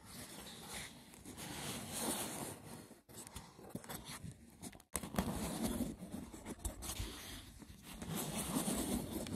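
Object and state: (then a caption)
Woven seagrass wicker box being scratched. Fingertips scratch quickly across the woven lid of a hollow, braided seagrass wicker box. The result is a continuous, rough, broadband scratching that stretches from low to bright, with brief pauses near 3 and 5 seconds.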